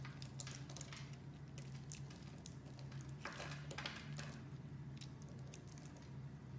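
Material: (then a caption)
Soap. A solid brownish-pink star-shaped bar soap, held in both hands, is carved with a metal blade as chips break off. Soft, bright crackling and scraping bursts come in quick clusters over a steady low hum near 148 Hz.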